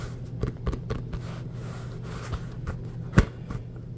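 Fingertips rub and scratch across the surface of an inflated, hollow, orange pebbled rubber basketball. The result is a soft, dull, low scratching rumble, broken by several short, sharper scrapes, the strongest near the end.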